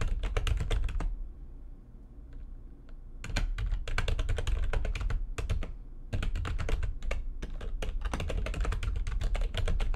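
Fingertips with long nails type fast on the keys of a full-size, low-profile, backlit plastic computer keyboard resting on a desk. Rapid bright, sharp clicks come in dense bursts, with a pause of about two seconds near the start and a brief lull around six seconds. A low, steady rumble sits underneath the clicking.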